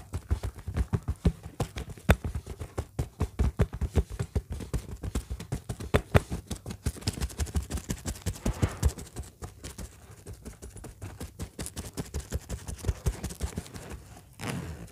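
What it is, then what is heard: Synthetic leather bag. Long fingernails tap and scratch the surface of an orange textured faux-leather bag in close-up. The result is a rapid, steady run of dry, muffled thumps with a deep low body and almost no ring, mixed with faint scratching. A softer brushing swell comes near the end.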